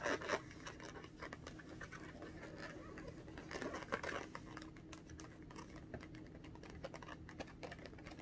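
Long orange acrylic nails tap and scratch the surface of a small, inflated pink latex balloon held in both hands, its hollow, air-filled body giving a soft, rubbery scratching and light tapping. The quiet, dense patter of short dry scrapes and taps continues steadily, with a few louder taps near the start and around the four-second mark.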